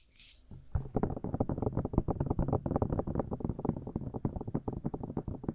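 Long blue acrylic nails with rhinestones tap and scratch directly on the two hollow, cup-shaped white silicone ear pieces of a binaural microphone held in both hands. After a brief faint bright hiss, a dense run of rapid, muffled thumps and rubs begins and continues throughout. The sound is low, boomy and close, with little high content.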